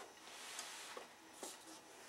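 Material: Nothing is struck.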